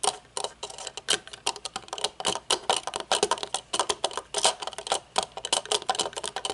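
Long nails tap the dark lenses, metal bridge and hinges of folded metal-frame aviator sunglasses resting on a wooden table. Rapid, irregular taps make sharp, bright clicks with no low end, each dying away almost instantly.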